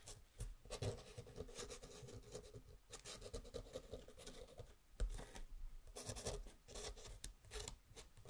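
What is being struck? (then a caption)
Kraft-paper tag scratched by a metal pen nib. A dip pen nib held in the fingers writes on a small, flat kraft-paper luggage tag with string that lies on a wooden table. Quiet, dry scratching comes in short bursts of strokes with brief pauses between them, and one sharper stroke stands out near the middle. The writing continues steadily throughout the clip.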